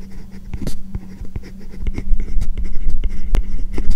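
A hard plastic stylus tip writes lines of English on a tablet fitted with a matte, paper-like plastic screen protector over the glass. The result is a steady scratching, rubbing stroke sound with quick taps and short bright scrapes, over a low hum.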